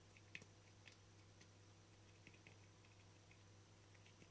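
Fingertips and nails tap and scratch the face and rim of a small, round, hollow, translucent frosted plastic lid. The result is quiet, dry, bright clicks and ticks around 2.5 kHz that die away almost instantly, with soft scratchy rustles between them. A steady low hum runs underneath throughout.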